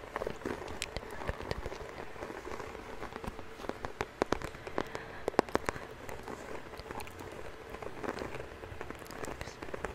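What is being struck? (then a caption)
Small cardboard bandage box. A hollow white Band-Aid bandage box, likely cardboard, is held beside the mic and rapidly tapped and scratched with fingertips and nails. The result is a dense patter of quick, dry taps with sharp clicks that die instantly, over a soft scratchy hiss with a low hollow tone.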